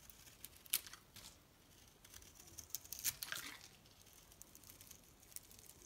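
A metal knife blade shaves flat across a solid pink bar of soap with a blue coated rim, peeling off long thin shavings. Quiet, bright, dry scraping and crackling comes in short bursts, with the sharpest strokes near the start and around the middle of the clip, and little low-end body.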